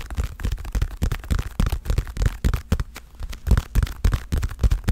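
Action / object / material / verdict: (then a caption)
tap / padded leather boxing glove / leather / none. Fingertips and long nails tap the surface of a dark blue padded leather boxing glove, giving a quick, irregular run of dull, deep thumps with almost no brightness. Each tap dies away almost at once, leaving a low, muffled patter.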